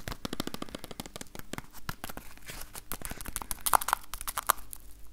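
A small rectangular yellow printed cardboard box, held in one hand, is tapped rapidly with the fingertips of the other in front of a recorder. About two dozen quick, dry taps and light crinkly scratches sound in an irregular run, a few landing sharper with a brief hollow ring.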